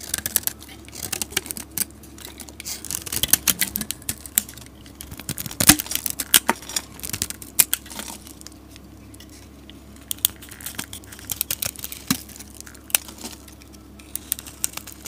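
A solid green soap bar, held in a hand with long nails, is scraped with a utility blade. Many short, crisp, bright scraping and crackling ticks come in dense bursts, with a brief quieter stretch in the middle and only a faint low hum underneath.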